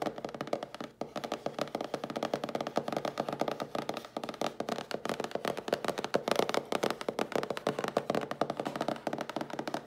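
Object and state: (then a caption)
Cardboard box tapped and scratched. Long blue nails rapidly tap and scratch the sides and bottom edge of a hollow cardboard mailer box held in the hands. The result is a dense, steady stream of dry, papery clicks and scrapes with a hollow midrange tone, little low-end weight, and almost no ring after each hit.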